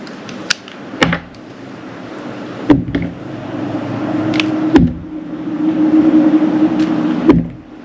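A metal utility knife shaves the top of a solid purple translucent glycerin soap bar held upright in the hand. Sharp clicks mark each cut, followed by soft, rising scraping strokes that carry a faint steady tone, over a quiet background.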